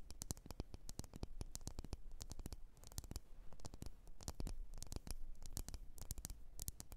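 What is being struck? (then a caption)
Glass candle jar filled with wax. Long polished nails tap and scratch the sides of a medium, lit candle in a red glass jar with printed text and a solid wax filling. The result is a quiet, rapid, uneven patter of sharp, bright clicks that die away almost instantly, over a soft low rumble and faint scratchy noise.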